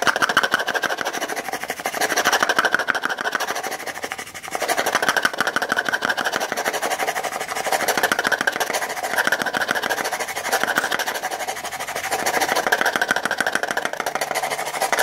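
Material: Plastic.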